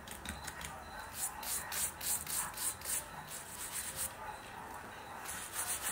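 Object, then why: Suede boot and bristle brush. A wooden-handled bristle brush scrubs the lower suede upper along the sole of a worn black suede Nike boot. Quick, repeated back-and-forth strokes make a dry, scratchy, bright rasp that swells and fades with each pass, over a soft hiss.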